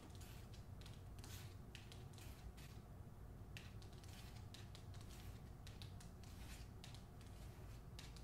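A hardcover novel with a glossy paper dust jacket, held by its top edge, is scratched and tapped by long nails on the cover. Quiet, steady scratching comes in short bright bursts over a constant low rumble, with quick light taps mixed in.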